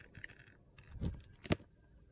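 A metal utility knife blade shaves and scrapes the coated edge of a hand-sized solid bar of soap, held in the hand, that is coated in blue glitter and white inside. Faint gritty scratching leads into two louder crunchy scrapes, the sharpest one near the end.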